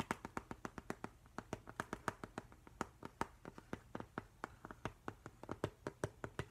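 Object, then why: Glass-fronted picture frame. Fingertips and nails tap quickly on the flat glass front of a framed octopus print. About 36 short, sharp clicks with a clear tone near 1.2 kHz land in a fast, uneven rhythm, each dying away almost at once.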